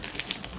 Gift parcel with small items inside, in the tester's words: tu w tej paczuszce coś grzechocze